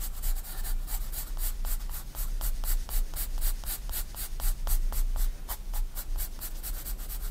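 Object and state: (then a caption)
Paper sketchbook page shaded with pencil. A 4B pencil rubs shading strokes across a white paper sketchbook page lying flat. Quick, regular scratchy strokes follow one another steadily, each a bright papery rasp over a constant low rumble.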